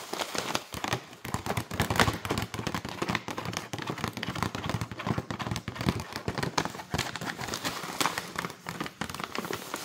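Long nails tap, scratch and crinkle a printed flexible plastic pouch full of granola. A dense, continuous stream of fast crackly taps and crinkling rustles runs throughout, with brief sharp clicks over a soft, broad hiss.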